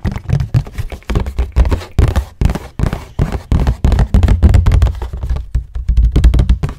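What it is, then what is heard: Cardboard tissue box tapped with fingernails. Fingernails tap quickly on the floral and green printed sides of a hollow cardboard tissue box, held upright and then laid flat. The result is a rapid, uneven run of short, dull, bass-heavy knocks that die away almost at once, with little brightness.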